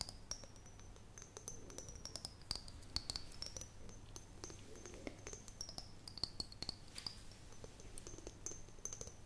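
An empty, hollow clear glass mason jar held close to the microphone is tapped and scratched with long fingernails, producing a rapid stream of sharp, crisp clicks and taps. A thin, high-pitched whistling tone wavers steadily above them, over a faint low hum.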